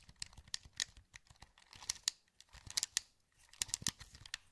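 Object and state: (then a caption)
Plastic game controller buttons clicking. A wired black plastic PS2 controller, hollow and held in both hands, has its buttons and joysticks clicked by fingertips. Quiet, dry, bright clicks and taps come in uneven bursts with short pauses between them, and each snaps off almost instantly.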